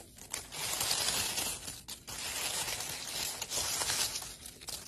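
Dry rose petals in a wicker basket are crumpled and rubbed between fingers and scratched with long pale blue acrylic nails. The result is a dense, bright, crisp crackling and rustling, mostly high-pitched with almost no low end. It runs nearly continuously, with brief pauses early on and near the two-second mark.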